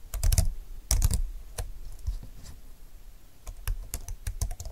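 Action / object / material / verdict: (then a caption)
tap / plastic slim computer keyboard / plastic / none. Both hands type steadily on a slim computer keyboard with plastic keys and a grey frame. The fingertips press out bursts of quick, crisp key clicks with soft low thumps beneath them. There is a brief lull in the middle before the typing picks up again.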